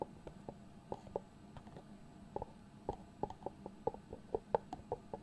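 Fingertips and nails tap and rub the lift-off lid of a small, hollow white cardboard product box. The result is a run of quick, dry, hollow taps with a mid-pitched knock that dies away almost instantly, over a soft, faint rubbing. The taps come more often and a little louder toward the end.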